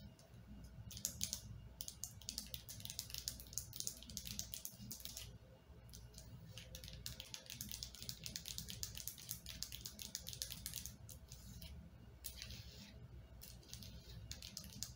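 Long painted fingernails tap and scratch repeatedly along the sides of a partly filled white plastic lotion bottle with a blue cap, held in the hand. Quick, bright clicks and scraping rustles run almost continuously over a faint low hum. Each tap dies away almost instantly, with only a few short pauses between bursts.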